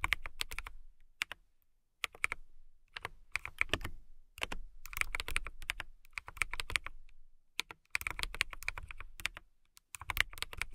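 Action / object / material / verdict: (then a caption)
tap / acrylic mechanical keyboard / acrylic plastic / none. A compact transparent acrylic mechanical keyboard, with clear plastic keycaps and a clear case, is typed on with long nails and fingertips. Bursts of quick, sharp, bright clacks with a soft low thump come in runs separated by brief pauses. Each keystroke stops short, with almost no ring.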